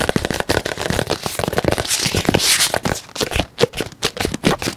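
A white and green squeezable plastic tube of cream, apparently full, is tapped rapidly with fingertips and nails along its surface. It makes a dense stream of short, dry, crackly clicks and taps with no ring. The pace shifts, with a few slightly louder, sparser taps toward the end.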